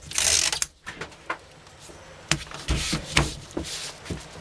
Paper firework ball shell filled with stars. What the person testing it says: crammed tightly full and not rattle too much when I pick it up and shake it